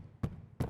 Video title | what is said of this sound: VW T6.1 new speakers and subwoofer installation - DIY - ARS24 | if you hold it and tap it, then everything is quiet